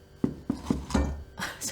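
Knuckles knock on a sourdough loaf after an hour of baking to check that it is cooked through. Five short, dull, hollow thumps with a low body and almost no ring, and the solid sound shows the loaf is baked well.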